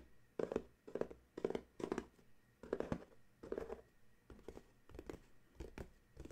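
Fingertips and nails tap and scratch the sides of a small paperboard coffee mug gift box standing on a towel. Bursts of dry, papery taps and scratchy rasps come in quick clusters, with a hollow midrange knock and almost no ring after each touch.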